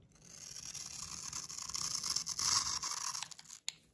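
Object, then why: Bar of soap scraped with a metal blade. A solid light blue rectangular bar of soap held in the hand has its top edge scraped and shaved with a metal utility knife blade. A dense, bright, crackly scraping rasp builds over about three seconds, then trails off, ending with one sharp, high click.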